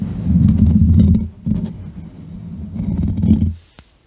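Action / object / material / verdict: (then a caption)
scrape / foam microphone windscreen / foam / none. Fingertips and long nails of both hands scratch and rub a soft, porous black foam windscreen over the top of a standing USB microphone. The result is a dense, muffled, low-heavy rumbling scrape in two long bursts separated by a brief dip, with faint bright crackle on top. It fades out near the end, followed by a single soft click.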